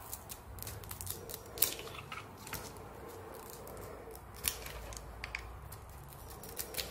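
A hand-sized oval bar of soap with a purple coating and white interior is held in the hand and shaved with a utility knife blade, scraping off curls, with soap shavings and other pieces lying nearby. Soft, steady scraping carries bright, crisp ticks and a few sharper clicks scattered throughout, all at a low overall level.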